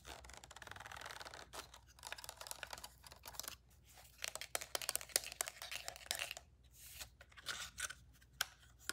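Long painted nails rapidly tap and scratch the solid plastic body, rubber grip and attached lens of a black Canon DSLR camera, while rings on the fingers may add faint clicks. Dense, bright scratching alternates with bursts of sharp, dry taps that stop almost instantly, with very little low end.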